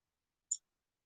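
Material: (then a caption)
Ceramic. A small painted ceramic turkey figurine with velvet on the bottom is tapped once, giving a brief, bright, high-pitched click that dies away almost instantly. The tap shows the figurine is hollow and open underneath.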